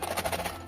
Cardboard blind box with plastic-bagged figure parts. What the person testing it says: Teman-teman dengar ya. Ini gap-nya benar-benar kecil ya.